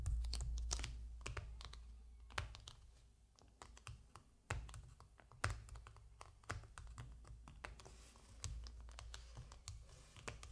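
Fingertips and nails of one hand scratch and rub across the glossy printed cover of a large hardcover book lying flat, its cover showing an aircraft picture. A quick, irregular run of short, dry scratches and tapping clicks with bright edges sits over a soft low rumble, each stroke dying away almost at once.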